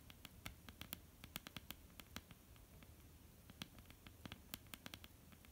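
Long almond-shaped painted nails of both hands tap on a flat, solid wooden tabletop. The result is a quiet, irregular run of short, dry clicks with bright, sharp edges and almost no ring, over a low, rumbly background.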